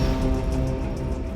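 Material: Nothing is struck.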